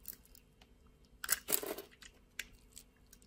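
A metal utility-knife blade scrapes and shaves thin flakes off a solid rectangular orange bar of soap held in the palm, its surface scored into a grid, with soap crumbs falling onto the table. Short, bright, crisp crunching scrapes come in scattered bursts, the loudest and longest in the middle of the clip, with quiet gaps between.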